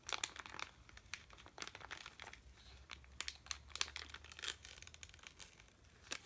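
A sealed red plastic M&M's bag full of candy is held in both hands, crinkled with the fingertips and turned over. Quick, bright crackles and crinkles come in bursts and die away almost at once, over a faint steady low hum.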